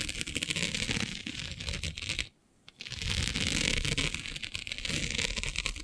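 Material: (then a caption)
Plastic. Long nails scratch and pluck at a flat black iridescent plastic diamond mesh sheet, making a dense, bright, crackling scratch with quick irregular clicks. The scratching pauses briefly into near silence partway through, then resumes just as busy until the end.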